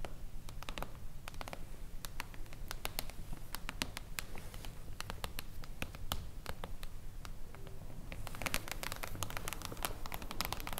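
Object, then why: Foil-covered hardcover book. Long blue acrylic nails on both hands tap fast on a solid silver reflective-foil hardcover book lying flat. The result is a dense, uneven stream of short, sharp, bright clicks with a light scratchy texture, growing busier near the end over a steady low background hum.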